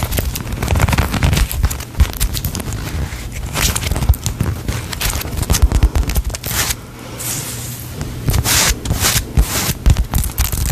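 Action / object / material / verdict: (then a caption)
tap / polyurethane foam cake slice toy / polyurethane foam / none. A small, solid polyurethane foam cake slice squishy toy with sprinkle decoration is squeezed and tapped with long nails close to the mic. Dense crackling, sticky scraping and quick tapping run throughout over a heavy low rumble, with brief bright bursts and a short quieter squeeze near the middle.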